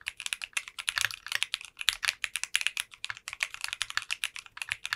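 Continuous fast typing with both hands' fingertips on a 60% custom mechanical keyboard with translucent pink polycarbonate keycaps. Rapid, bright, crisp clacks follow one another with almost no low end, each keystroke short and dry with very little ring.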